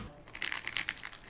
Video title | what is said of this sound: My quest is over I reached MAXIMUM steak crispiness! YouTube | It sounds like plastic too